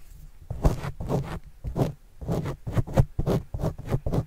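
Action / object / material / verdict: scrape / foam microphone windscreen scratched with a plastic stylus / foam / none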